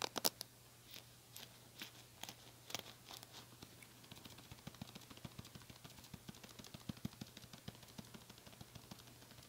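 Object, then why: Small plastic hairbrush with bristles. Long nails scratch the bristles of a small pink plastic hairbrush with a black cushion and bristles, held in the hand. Sparse, sharp, crackly flicks give way to quiet, rapid, dense scratching over a faint steady low hum.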